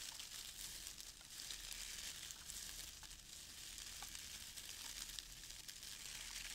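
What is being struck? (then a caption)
Shredded crinkle paper filler in a cardboard box. A hand digs into a small open cardboard box filled with brown crinkle-cut shredded paper filler and rummages through the strands. The result is a steady, quiet, hissy crinkling and rustling, mostly in the high frequencies, with small crackles scattered throughout.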